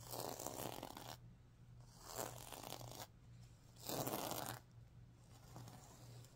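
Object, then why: Fabric pillow covered in plastic sequins. Fingers and nails brush across the reversible plastic sequins on the fabric of a stuffed pillow, flipping them from green to pink. Each stroke makes a soft, broadband swishing rasp that rises and fades, separated by quieter pauses over a steady low hum.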